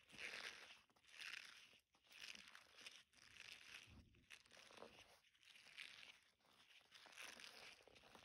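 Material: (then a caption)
Silicone. A flexible, hand-sized blue silicone bristle scrubber is squeezed and rubbed with fingers and thumbs above a dark table. This produces bright, crinkly crunching and scratching in repeated swells roughly once per second, with brief quiet gaps between strokes.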